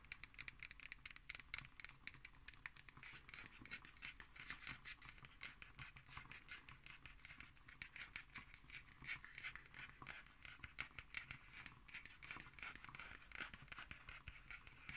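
Long nails scratch the cover of a solid black hardcover paper notebook with a label, lying on a wooden table. A steady stream of quick, bright, dry scratching strokes continues for the whole clip at a soft, quiet level, with little low end and no ringing.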